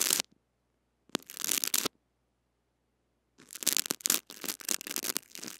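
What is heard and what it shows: A small white brush scratches and sweeps across the head of a small blue-bodied metal-mesh mini microphone wrapped in clear cling film and held in the fingers. Bright, crinkly scratching comes in three bursts separated by silence: a short one, a longer one, then a busier stretch of rapid strokes at the end.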